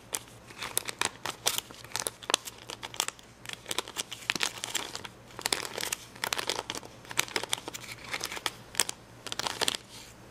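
Fingernails pick and scratch at red and yellow acrylic rhinestones on the clear plastic backing of a rhinestone sticker sheet. The result is a dense run of sharp, bright plastic clicks and crinkly scratches with very little low end. A faint steady low hum sits underneath.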